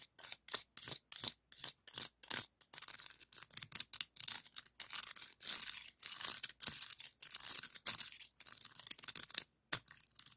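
A hollow, ribbed, pinkish scallop shell is held in the hand while the ribbed edge of a second, white scallop shell is rubbed and scraped across its ribs. The result is a run of short, dry, bright scratchy rasps with almost no low end, coming in quick separate strokes at first and then longer, denser scraping passes.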